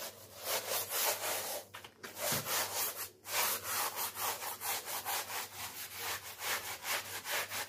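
A small, wet, flat-woven wool kilim rug lying on a plastic sheet is scrubbed with a stiff-bristle blue brush in back-and-forth strokes while a hand holds it down. The result is a steady, rhythmic, bright scratchy rasping with a few brief pauses between strokes.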